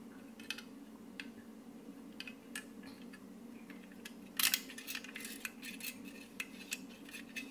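A hand-held plier-type metal stapler with a black handle and chrome metal jaws is held in both hands and tapped and scratched with short purple fingernails, making its metal parts click. Short, bright clicks and scrapes sound over a steady low hum, with a louder burst of rattling clicks about midway through.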